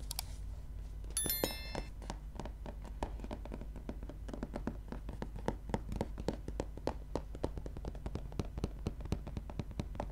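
Nails and fingertips tap along the cover and top edge of a gray softcover book lying flat, making a quick, uneven run of short, dry clicks and light thuds that die away almost at once. A steady low hum sits underneath, and brief bright tonal pings sound near the start.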